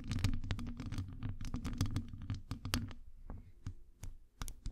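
Long acrylic nails scratch and tap on a hollow metal wire-mesh microphone grille. The first three seconds are a dense run of scratchy, crackling taps over a low, boomy rumble. It then thins out to sparser, sharp clicks with bright edges.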